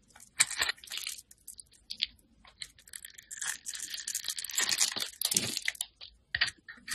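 A metal utility blade carves and scrapes shavings off a handheld solid bar of white soap with pink and teal marbling. Short, dry, bright scraping and crunching strokes come in uneven bursts with quiet gaps between them, and there is almost no low end.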